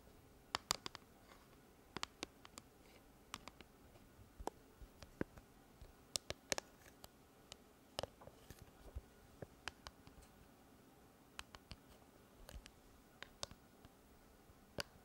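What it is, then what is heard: Plastic cylindrical speaker being tapped. A pale pink hard plastic cylindrical Bluetooth speaker with a ridged top strip, held horizontally in front of the mic, is tapped with long red fingernails. Sharp, bright clicks sound at irregular intervals over a quiet background, each dying away almost instantly.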